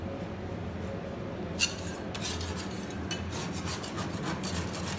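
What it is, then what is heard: Ice cream scraped on a steel cold plate. A gloved hand pushes a metal spatula with an orange handle across a thin layer of frozen chocolate ice cream spread on a large flat stainless steel cold plate, scraping it into rolls beside others already made and a second spatula lying on the plate. A low steady hum runs under a sharp bright click, followed by repeated raspy, bright scraping strokes as the ice cream curls up.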